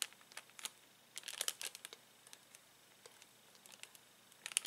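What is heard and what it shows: Fingertips press spiky plastic Bunchems toy balls through a clear cellophane bag, crinkling the plastic. Quiet, bright, crisp crackles arrive in short irregular clusters separated by near-silent pauses, with almost no low end.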